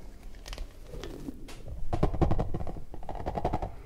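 An orange rubber puffer ball is squeezed hard so its smooth inner bubble bulges out, while fingers rub and squeeze it. The clip is a close, low series of squeaky rubber creaks and soft stretching sounds that get denser and louder in the second half.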